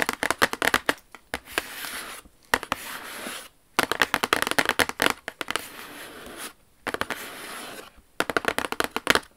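Long acrylic nails on both hands tap and scratch rapidly across the lid of a large, hollow, glossy white Jimmy Choo cardboard shoe box with silver lettering, lying flat. Bursts of sharp, bright clicking taps alternate with stretches of steady, hissy scratching, with almost no low-end thud.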